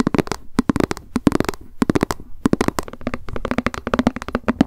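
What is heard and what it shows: A small, hollow white plastic lunch box with a cat print, held in the hands, is tapped quickly with long acrylic nails. Rapid, dry clicking taps come in uneven bursts, each short and sharp with a hollow plastic tone and almost no ring.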